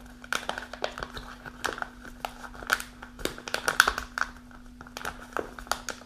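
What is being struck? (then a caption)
Kraft paper snack pouch. A partly full kraft paper snack pouch is held upright while long nails rub and scratch across its front. Dry, crisp crinkling and sharp scratches come in quick, uneven bursts, with bright, papery edges over a faint steady hum.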